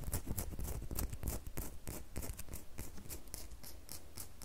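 Long manicured fingernails scratch and tap a small, solid, rectangular bar of red soap held in the hand. Quick, uneven strokes produce dry, bright scratching bursts over soft, low, dull taps that stop with no ring.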